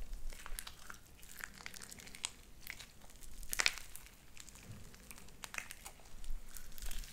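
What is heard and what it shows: Light-blue sticky slime with white beads is pressed between hands and squeezed with fingertips and nails. Quiet, rapid crinkling and popping clicks sound throughout, with a brighter, louder burst of crackles about halfway through.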